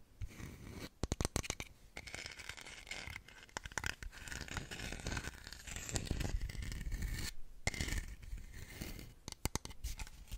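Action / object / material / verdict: scrape / small carved stone figurine / stone / none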